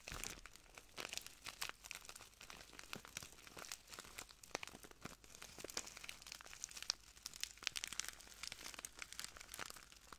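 A small clear plastic bag full of translucent granules is crinkled and squeezed by the fingertips of both hands. A steady, quiet stream of dense, bright crinkling and crackling fills the clip, with many sharp short snaps and granular rustles and almost no low end.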